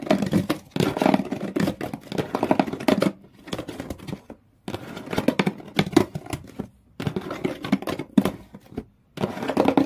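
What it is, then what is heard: Cardboard shoe box, scratched. Long fingernails on both hands scratch hard at the inside of an open, empty shoe box, raking its blue outer walls and corrugated-textured brown cardboard floor. Rapid, gritty scraping comes in dense bursts with a papery hollow body around 200–600 Hz and a bright rasp on top. Short pauses of near silence separate the bursts.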